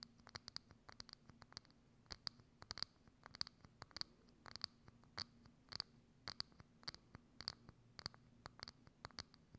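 Long acrylic nails scratch and tap a hollow, thin, clear plastic dome lid with a knob that sits over a microphone. About 32 sharp, bright clicks and scrapes follow one another in an irregular rhythm, each with a brief high ring. A faint low hum stays underneath throughout.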